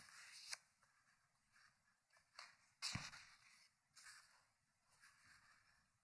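Fingertips turn the pages of an open, thick hardcover paper book resting on a wooden table. Quiet, bright paper rubs and soft flips are broken by several sharp, crisp snaps as pages flip over, with the loudest near the middle.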